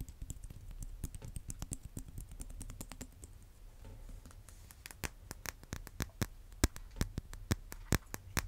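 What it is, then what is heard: Vinyl-coated dumbbell, tapped with fingernails. Fingernails tap rapidly on a solid red vinyl-coated hand dumbbell with black rims, held close to the mic. The taps come as quick, uneven clicks with a dull, low thud beneath and almost no ring. They grow sharper and louder in the second half.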